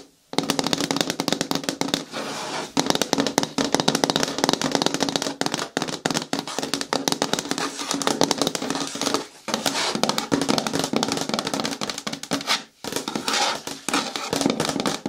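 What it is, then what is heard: Hard plastic bin with lid. Long nails tap rapidly on the curved side wall near the handle of a green hard plastic bin with a lid, which lies on its side. The result is a dense stream of sharp, bright clicks over a hollow plastic tone around 280 Hz, broken by a few brief pauses.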